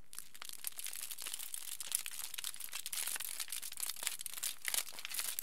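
A large, thin sheet of thick aluminium foil resting flat on a table is lifted, then crumpled and crinkled by the bare fingertips of both hands. A dense, continuous stream of bright, sharp crackles and crinkles runs throughout, with brief louder snaps scattered through the steady texture.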